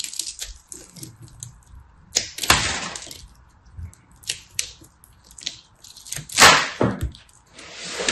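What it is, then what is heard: Pressed soap ball being cut. A knife blade cuts and scrapes into a solid, multicolored ball of pressed soap flakes held in a hand with red nails. Irregular bright, crunchy scraping and crackling bursts come through, with the loudest sweeps near the middle and end, over a faint steady hum.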